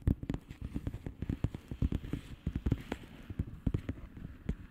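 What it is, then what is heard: Plastic bubble wrap mailer. Long painted nails on both hands tap and scratch across a blue plastic bubble wrap mailer lying flat. The result is a quick, irregular run of dull, low, muffled taps that stop dead, with faint scratchy texture between them.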